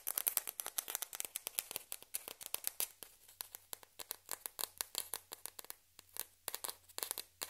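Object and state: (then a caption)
Plastic ping pong ball. A single small, hollow, white celluloid or plastic ping pong ball, held between both hands, is rapidly tapped and scratched all over with long red-painted nails, while other identical balls lie untouched on a dark fabric surface. A quiet, dense run of dry, bright clicks and scratchy ticks follows, each dying almost instantly, with nearly no low end.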